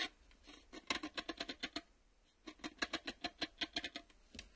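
Fast fingertip and nail tapping on the ribbed underside and reel windows of a black plastic VHS cassette with a hollow shell. About 20 crisp, dry, bright taps come in two quick bursts separated by a short pause, each with a hollow, clicky tone around 1 kHz. The taps die away almost instantly, with little low end.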